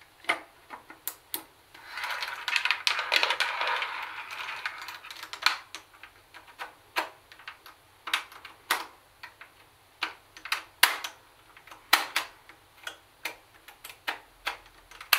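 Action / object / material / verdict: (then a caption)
tap / plastic boombox casing and buttons / plastic / none. Long nails tap with clawed fingers on the plastic CD lid and buttons of a plastic CD cassette boombox. Sharp, bright clicks and taps ring only briefly, with a denser scratchy rustle early on before the taps return as separate dry clicks.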